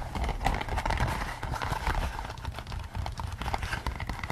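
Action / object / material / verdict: tap / latex rubber pig-head mask / latex rubber / none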